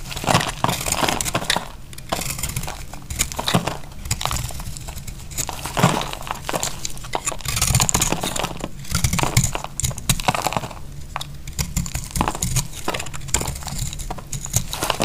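A utility knife blade scrapes and cuts along the edge of a solid, dry pink soap bar, making dense, crisp crinkling and crunching scrapes. Short bursts rise over a steady low rumble as flakes crumble off the bar.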